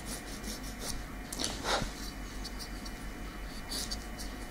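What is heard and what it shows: A long natural fingernail of small solid keratin is filed with a slim, light-coloured nail file held in the other hand. Soft, bright rasping strokes come and go over a steady low hum.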